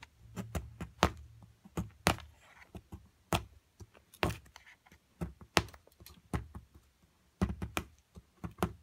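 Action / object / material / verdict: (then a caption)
strike / plaster block around a crystal, chipped with a metal chisel / plaster / none. A metal chisel chips flakes of plaster off a large, solid plaster block surrounding a purple crystal. An irregular series of sharp, dry taps, each with a low thud, stops almost instantly with no ring. Faint gritty scraping can be heard between some of the strikes.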